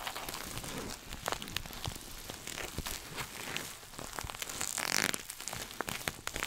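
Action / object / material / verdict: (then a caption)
scrape / coated nylon shoulder bag / coated nylon / none. Fingernails scratch and tap across the crinkly surface of a small red glossy coated-nylon pouch shoulder bag. The result is a dense, bright stream of crinkling and crackling with quick sharp taps scattered throughout, growing a little louder near the end.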